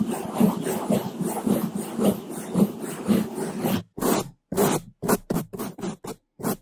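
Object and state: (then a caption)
Brushing on a foam microphone windscreen. Two bamboo toothbrushes, held in gloved hands, rub against the sides of a black foam microphone windscreen in slower strokes. A dense, low, muffled scratching runs continuously for the first few seconds. It then breaks into separate short brushing strokes with brief silences between them.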